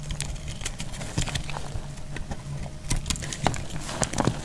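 A hand-sized pink dry soap bar, solid and held in the hand, has crumbly shavings repeatedly scraped and cut from it with a metal blade. Short, crisp scraping and crackling strokes come one after another over a low background hum, each stroke adding a brief bright snap.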